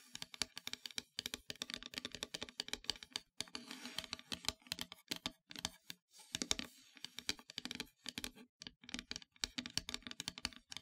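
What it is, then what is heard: Painted wooden heart plaque tapped with nails. Long metallic nails tap rapidly near the top edge of a flat, solid, dark painted wooden heart-shaped plaque. The result is a dense run of short, dry, bright clicks with almost no ring, centred around 3.7 kHz with very little low end. A few brief, noisier scratch-like stretches are mixed in.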